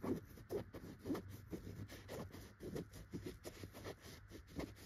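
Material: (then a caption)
Chenille fabric. A single finger with a short red-painted nail scratches between the tufts of a yellow chenille dotted pillow, close up. Soft, dry scratching strokes come in uneven bursts, low-to-mid in tone with a faint hiss.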